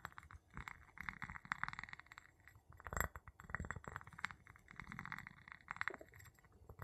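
The tip of a wooden pestle taps and rubs the bottom of an empty clear glass jar with a gold metal lid, held in the palm. Quick, dry glassy clinks ring around 2 kHz with very short decay, mixed with soft scraping and low rumbling between the taps.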